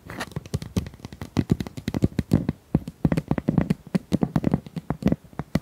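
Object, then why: Ribbed plastic pop tube. Long nails run over and tap the ridges of a hollow, corrugated pink plastic pop tube held horizontally. The result is a rapid, uneven run of short, dry clicks and hollow plastic taps, each dying away almost at once, with a low, boxy body around 160 Hz and crisp, bright edges.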